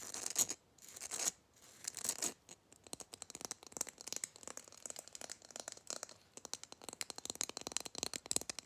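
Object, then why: Glitter-coated Christmas bauble. Fingernails rapidly scratch and tap a gold glitter-coated Christmas bauble held close to the microphone. The sound is a dense stream of short, bright, crisp scratches and ticks with almost no low end, starting with a few longer rasping strokes before settling into quick, closely spaced taps.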